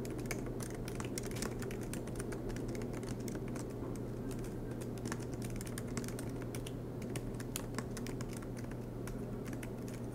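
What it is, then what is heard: Laptop keyboard with plastic keys, typing. Fingertips type continuously on the low-profile black plastic keys of a silver MacBook Pro, its aluminium body resting on a desk mat. Many quick, light, bright clicks come over a steady low hum.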